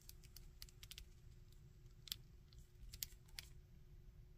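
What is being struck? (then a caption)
Small plastic action figure. Fingertips move the limbs of a small plastic Iron Man action figure and tap on its body, making quiet, sharp, bright plastic clicks and taps that die away almost instantly. The clicks come at irregular intervals over a low rumble and a faint steady hum.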